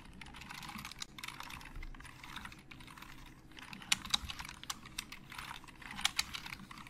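Fingertips of both hands type on a hollow black plastic Logitech computer keyboard. A steady stream of soft, quick, bright key clicks turns into a few sharper, louder taps in the second half, each dying away instantly.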